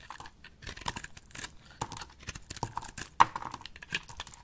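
A solid rectangular pink dry soap bar with embossed lettering is cut and shaved into chips with a box-cutter blade held in the hand. A quick, irregular series of crisp, dry scraping clicks and crumbly crackles follows, each sharp and short with almost no ring, and one louder snap stands out near the end.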